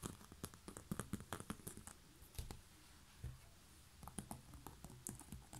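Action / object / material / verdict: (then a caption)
tap / woven bamboo basket lid / bamboo / none. Long fingernails scratch and tap a hollow, round, coiled woven bamboo basket lid with a knob, first on the underside and then on the top. Quick, dry clicks and scratchy rasps sit over a soft, hollow low thump, with a quieter stretch in the middle before the tapping picks up again.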